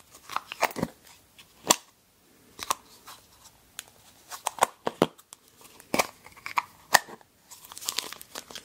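Long painted nails pry the snap-on lid off a small, round, translucent yellow plastic pot, hollow and empty and held in both hands, then press it back on. Sharp, dry snaps and clicks from the plastic rim come in irregular bursts with faint crinkly rustling between them. The sound is bright and thin, with almost no low end and no ring after each click.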